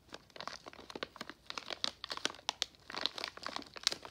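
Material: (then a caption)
Plastic foil. A full pink Nerds plastic foil candy pouch is squeezed with the thumbs and turned over. It makes a quick run of sharp, bright crinkles and crackles with no low end and no ring after each one.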